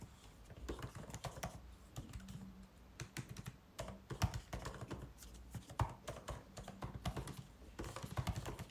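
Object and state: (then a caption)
Laptop keyboard keys being typed on. White cotton-gloved fingertips type continuously on a 16-inch MacBook Pro keyboard, its plastic keys set in an aluminum body. The keys give a steady stream of quick, soft, dull clicks and taps that die away almost instantly, over a faint low hum.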